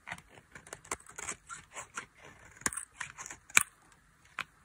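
A metal blade carves thin shavings from a dry, solid white soap bar with a red rim held in the hand. A series of short, crisp scraping and cutting strokes sounds mostly high and bright, with a few sharper snaps standing out.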